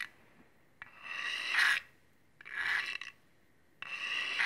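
A large steel chef's knife with a dark blade and a solid metal handle, held in one hand, has its edge drawn along a steel honing rod in three sharpening strokes. Each stroke is a bright, rasping metallic scrape that builds in loudness and carries a ringing tone near 1.7 kHz, with short quiet gaps between strokes.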